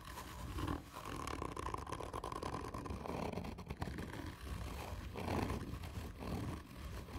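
Both hands scratch a hollow, black, textured cardboard whisky tube with long painted nails, hard and slow. The result is a dense, continuous rasping scrape with a deep, hollow rumble underneath that swells and eases with each slow stroke.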